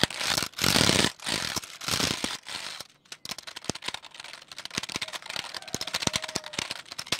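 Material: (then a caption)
Plastic. A full-size black plastic keyboard with a hollow shell is held up while fingertips tap and press its keys rapidly. The first few seconds carry loud, bright bursts of rustling, scraping noise, which drop to a brief near-silence. Then come quick, sharp, hollow plastic clicks in a dense, uneven stream, with a faint brief tone near the end.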